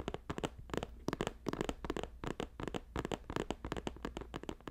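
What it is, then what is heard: Woven plastic basket. Both hands fast-tap a green woven plastic-strip basket with fingertips and nails. A rapid, uneven stream of short, crisp clicks and taps has bright, scratchy edges. A faint steady low hum sits underneath.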